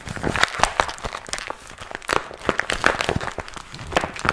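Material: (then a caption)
Vinyl. A small, empty, glossy pink patent vinyl (PVC) cosmetic pouch with a zipper and strap is held in both hands while fingertips squeeze and crinkle it. The result is a steady run of dry, bright crinkling with quick, sharp crackles that die away almost instantly, bunching into louder bursts between softer stretches.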